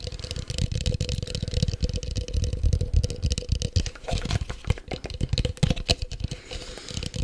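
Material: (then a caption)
Plastic. A small, hollow, empty, light green translucent plastic cup is held in both hands in front of the mic and tapped and scratched with the fingertips. The result is a rapid, continuous stream of short, dull, low thumps, mixed with brief bright scratching rasps and a faint steady hum.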